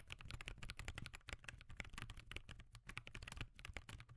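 Fingertips type in steady, rapid taps on a backlit laptop keyboard with plastic keys resting on a desk. The result is a dense stream of short, dry clicks with bright, crisp tops and soft low thumps beneath, each tap dying away almost at once.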